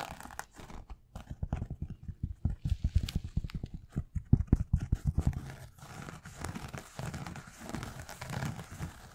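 A white and black knit-upper sneaker in the Yeezy 350 style is held hollow in the hands and tapped and scratched with fingertips and nails. Rapid, dull, low thumping taps come first and build to the loudest in the middle, then give way to softer, rustling scratches across the fabric.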